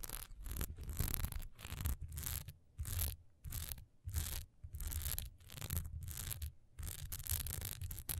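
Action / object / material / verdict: scrape / wax pillar candle with textured sides / wax / none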